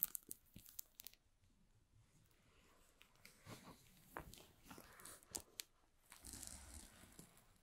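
Fingertips rub the plastic shrink wrap on the sides of a small, hollow cardboard box, making soft, bright crinkles. Quick crackling clicks come at the start, then a quieter stretch of rubbing, and a steadier rustle near the end.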